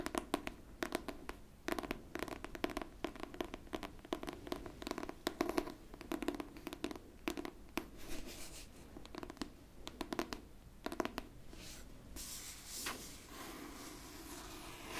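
Long pink nails scratch across the cover of a pink hardcover book held flat, making a dense run of quick, dry scratching strokes with bright, raspy edges. The strokes come in rapid bursts with short pauses, then ease into a softer, steadier rustle toward the end.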